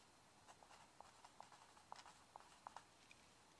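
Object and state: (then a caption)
Pencil writing on a paper legal pad. A mechanical pencil scratches its graphite tip across a yellow lined legal pad sheet lying flat on a wooden desk. Soft, quiet scratching strokes come through as short, dry ticks with a mid-range tone and some brighter hiss, and each one dies away at once.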